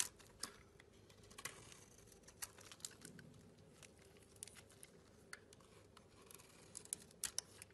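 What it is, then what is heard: Bar of soap being carved. A metal blade scrapes and shaves a solid, hand-sized green and pink bar of soap, making soft, bright scratching strokes. Short, crisp ticks stand out above a faint, steady hiss throughout.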